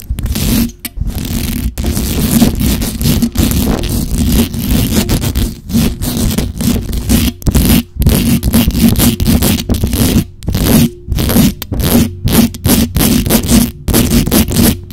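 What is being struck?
Metal mesh microphone grille.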